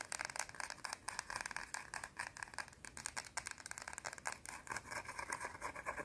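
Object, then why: Round bar of soap. A round, solid white soap bar held in the fingers is scratched fast with long teal nails. The result is a continuous run of rapid, dry, crackly scrapes that are bright and papery, with almost no low end.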